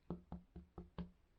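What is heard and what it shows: Knuckles knock five times on a baked bread loaf made from a can of soup, testing whether it sounds hollow enough to be baked through. Each knock is a short, dull, low thud around 176 Hz that dies away almost at once, with evenly spaced hits. The loaf gives the hollow sound of bread that is done.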